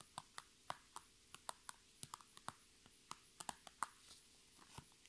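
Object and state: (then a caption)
Plastic makeup bag. Long red nails tap and scratch the crinkly sides of a medium-sized iridescent, holographic transparent PVC cosmetic bag filled with makeup items, standing on a table. Quiet, sharp ticks and crinkles, each dying away almost instantly, come at an uneven pace over a faint steady hum, with a brief softer rustle between some of them.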